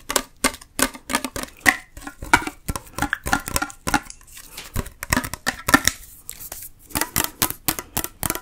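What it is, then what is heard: Full tin soup can. Long nails tap rapidly on the side and bottom of a full metal Campbell's Chunky soup can with a paper label. Each tap is a short, dry click with a faint tinny ping near 1.9 kHz and bright edges, dying away almost at once. Irregular bursts of tapping continue throughout with brief pauses between them.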